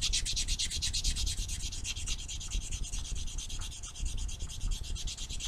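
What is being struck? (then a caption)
Foam nail buffer block rubbed on fingernails. A small, solid foam nail buffer block with blue and white abrasive sides is held in the hand and rubbed quickly back and forth against black fingernails. It makes a steady run of rapid, scratchy rubbing strokes, each a bright, hissy burst over a low, muffled rumble.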